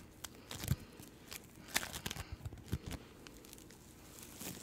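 A small, palm-sized ball of yellow-green floam, polystyrene beads in sticky slime and solid in form, is squeezed and pulled apart by fingertips with long nails. It gives quiet, crackly, sticky sounds: soft bead crunches and brief tearing snaps, some with bright crackle and some with low thumps, over a faint background.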